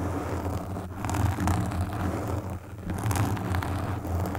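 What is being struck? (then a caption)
Foam microphone windscreen. Long pink nails scratch and stroke the black foam windscreen on a desktop microphone, producing a steady low, muffled rumble around 94 Hz. Soft brushy scratches flicker over it without ever separating into distinct hits. The level dips briefly partway through before the stroking swells again.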